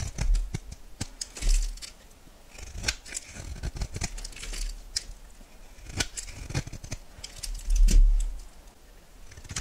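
A solid yellow oval bar of soap is shaved with a metal knife blade, giving a run of dry, crisp scraping and cutting sounds. Crumbs fall onto the board with small ticks, and a low thud marks each heavier stroke.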